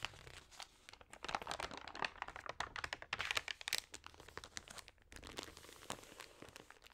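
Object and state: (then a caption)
Damp, water-sprayed thin magazine pages. Fingertips and nails rub and turn the damp, wavy pages of an open, water-sprayed thin paper magazine. The result is dense, bright crinkling and crackling made of many quick, dry snaps. There is a brief lull near the five-second mark before the rustling resumes more softly.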